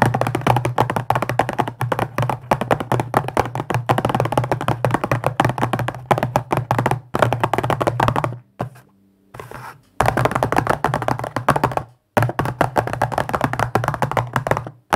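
Fingertips rapidly tap and scratch on the top of a small, hollow, printed cardboard tea box. The result is a dense, fast stream of short, dry taps with a low hollow thump around 117 Hz and quick scratchy textures. The taps stop briefly near the middle, where only faint soft sounds remain, and again after about 12 seconds.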